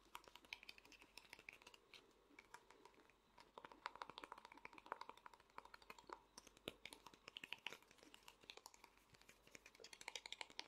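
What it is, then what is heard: Small hollow vinyl figure. Fingernails tap fast on the head and body of a small hollow vinyl Funko Pop figure. A dense run of sharp, dry clicks with a hollow tone near 950 Hz and bright highs, each tick dying out almost instantly, comes in quick bursts with brief pauses.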